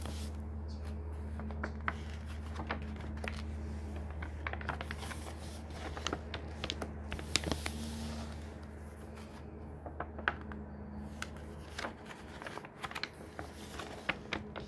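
Fingers riffle and turn the paper pages of a thick hardcover book, with a palm rubbing the page in between. Many short, bright crinkles and crisp flicks of paper sit over a steady low hum that fades out near the end.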